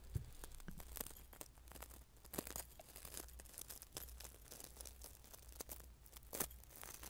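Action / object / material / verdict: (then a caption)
scrape / coarse salt in a small glass bowl / salt / none. Fingertips mix and scratch through loose coarse salt in a small glass bowl close in front of the mic. The result is a steady run of dense, gritty crunching and crackling with bright grainy clicks, over a constant low hum.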